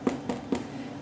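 Baked sourdough bread logs are tapped four times, each tap a short, dull, hollow knock centered around 250 Hz. The hollow sound shows the loaves are done; they rose more in the oven and the crust is crunchy.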